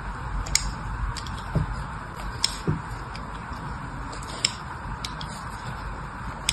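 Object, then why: Bar of soap. A craft knife scores crisscross lines into the surface of a solid green bar of soap held in one hand. Short, bright scratching clicks stand out irregularly over a steady low hiss and rumble, each ending almost instantly with no ring.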